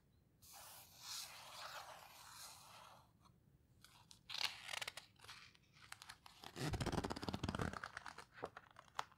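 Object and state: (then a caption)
Paper book pages rubbed and turned. Fingertips rub and squeeze the coarse paper pages of an open paper photo book, making a soft, bright, hissing rustle followed by scattered crisp crinkles and ticks. A page is then turned with a louder, fuller papery swish, and a few light crackles trail off at the end.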